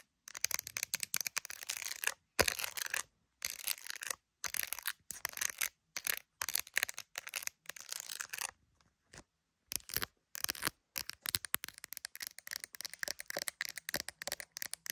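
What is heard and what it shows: Long nails scratch and tap the back of an iPhone in a clear plastic case with gummy bear charms, working over the case and the camera bump while the phone is seen in a mirror. Dense, bright, crackly scratching and sharp clicky taps come in quick bursts separated by brief silences, with almost no low end.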